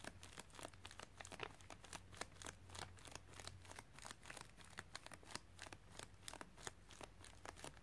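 Fingers with long nails tap and scratch across the top of a white padded plastic mailer bag lying on carpet. Rapid, sharp crinkly plastic clicks and rustles come through, with a faint low hum under the first half.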